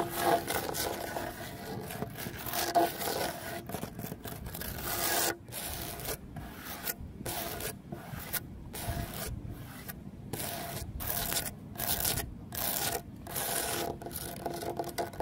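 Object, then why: Cement terrazzo stone bench. Fingernails scratch the large, solid, rough surface of a cement terrazzo stone bench set with stone chips, making a steady run of dry, rasping scrape strokes. The strokes come in short bursts separated by brief gaps, with a gritty, broadband texture.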